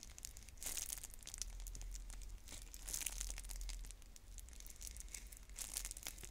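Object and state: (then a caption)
Plastic shrink wrap being scratched and crinkled. Long nails scratch, pick and crinkle the plastic shrink wrap on a clear plastic bead container while trying to open it. The result is a quiet, continuous crackling with bright, hissy bursts of crinkling that swell and fade over a low rumble.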